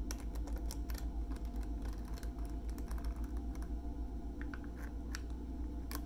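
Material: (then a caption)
Plastic. A hand-sized soft plastic film pouch of makeup remover wipes (40 count), full of wipes and topped with a hard white plastic snap lid, is held in both hands and tapped and scratched with fingertips and short nails across the lid and the crinkly pouch. The result is a quick, uneven run of light clicks, taps and soft crinkles over a steady low hum.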